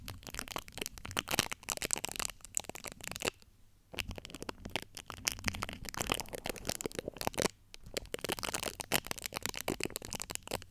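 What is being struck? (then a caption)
Steel-mesh microphone grille scratched with nail tips. Long acrylic nail tips scratch the top of the domed, hollow steel-mesh grille on a large USB microphone. The result is a dense, bright, crackling scratch made of rapid dry ticks, broken by two brief near-silent pauses.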